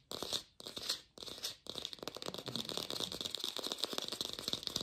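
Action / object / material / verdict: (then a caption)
tap / artificial plastic pear / plastic / fake. An artificial plastic pear is tapped quickly in a lo-fi recording. Three short rustling swells are followed by a dense run of fast, dry, crinkly taps. The sound is bright and thin, with almost no low end and a strong band near 3.8 kHz.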